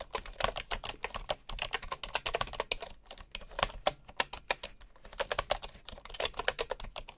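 Fingertips type on the wooden keys of a bamboo keyboard, with a bamboo mouse resting nearby, untouched. The keys give quick, dry, bright clacks in uneven bursts, with brief lulls near 3 and 5 seconds and almost no low-end thump or ring.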